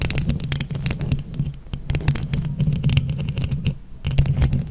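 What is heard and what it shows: Long nails scratch both sides of a microphone grille covered in plastic flower rhinestones. The result is a dense, close, low rumbling texture with a steady throb around 145 Hz. Rapid bright crackling scrapes flicker over it throughout.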